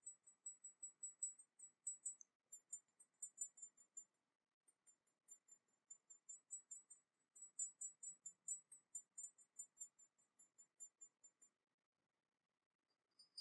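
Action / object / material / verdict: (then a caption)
tap / small porcelain teapot / porcelain / none. Long nails tap the body of a small, hollow, painted porcelain teapot with a dragon motif, held in the hands. About 38 quiet, bright, high clicking taps come in quick runs with very short ring, pausing briefly near the four-second mark and falling silent near the end before a few last taps.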